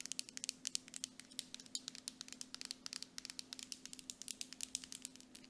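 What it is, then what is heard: Plastic cosmetic jar. Long nails tap rapidly on the labeled side of a medium grey plastic Dead Sea mud mask jar with a metallic lid, held upright. About 42 crisp, bright clicks with almost no ring follow one another in quick, uneven bursts over a faint steady hum.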